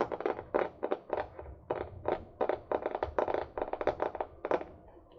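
Long nails tap the paper cover and spine of a small, solid hardcover or paperback book. The result is an uneven run of quick, dry, papery clicks and taps, centered in the midrange near 580 Hz with little low end. Each tap dies away almost at once with no ring.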